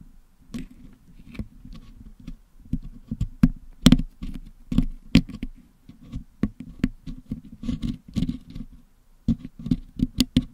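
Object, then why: Metal mesh microphone grille packed with putty, picked with a wooden toothpick. A wooden toothpick picks at the top of a Blue Yeti microphone's hollow metal mesh dome, which is packed with blue and yellow putty, to clean the putty out. Irregular, dry scratches, clicks and taps come close together, some louder and sharper than others, with a dull low thump under each and almost no ring. There are a few brief quiet gaps, the longest near the end.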